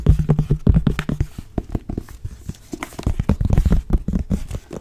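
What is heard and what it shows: Long nails tap and grip the cover and page edges of a blue cloth-bound hardcover book. The result is a quick, uneven run of short, dry, dull taps with soft scratchy grips between them. The sound is weighted toward the low end.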